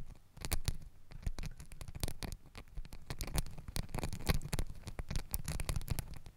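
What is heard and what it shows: Long nails and fingertips scratch and rub pink and green glittery fabric hair ties stacked around a microphone body. The result is a dense, crackly patter of quick scratches with a low, muffled rumble underneath and occasional bright, sharp rasps.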